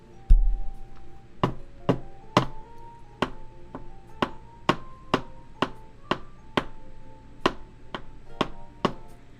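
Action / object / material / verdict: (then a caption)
knock / glass supplement container / glass / none. A glass supplement container is knocked against a desk about 16 times in a steady rhythm, each a short, sharp knock with a quick decay and a faint ringing tone. The container is glass, though the knocks sound dull and low.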